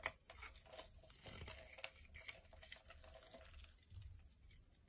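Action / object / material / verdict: scrape / bar of soap cut with a knife blade / soap / none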